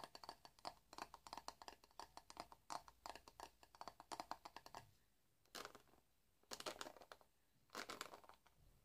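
Fingernails scratch and flick through the dense bristles of a hand-sized black plastic paddle hairbrush. For about five seconds there is a fast run of short, crisp, bright clicks and scratches. This is followed by a few separate, longer rasping sweeps with quiet pauses between them, all at a soft, close level.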